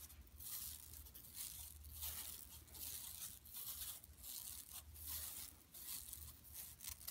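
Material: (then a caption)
Woven plastic. Long nails scratch across a large, flat, empty yellow woven plastic mesh tote bag lying on carpet. The result is a run of dry, bright, scratchy rasps in repeated strokes, each dying away almost at once, over a faint low rumble.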